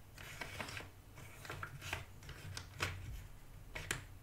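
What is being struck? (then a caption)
Cardboard jigsaw puzzle pieces in a cardboard box. Fingertips of one hand stir and scratch through a shallow cardboard box half full of loose cardboard jigsaw puzzle pieces, while the other hand stays out of view. The sound is a quiet, continuous dry rustle with bright, crisp clicks and scrapes as the pieces shift against each other. A steady low hum sits underneath.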